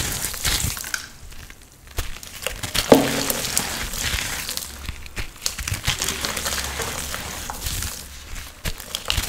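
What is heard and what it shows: A hand with painted nails squeezes, crushes and rubs damp, crumbly clumps of red powder, dyed sand or holi colour mixed with water, in and around a white bowl of red paste. Soft, steady crinkling and crackling crumbles come through with a bright, gritty texture and no squeaking. A sharper crunch stands out near the three-second mark.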